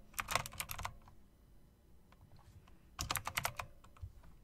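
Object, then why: Plastic and metal mechanical keyboard. Fingertips, then long nails, type on an RGB typewriter-style mechanical keyboard of plastic and metal with round plastic keycaps set in chrome rims. Two quick bursts of bright, crisp clicks with a clacky tone around 1 kHz are separated by a quiet pause holding a few faint ticks. Each click stops almost instantly, over a low background hiss.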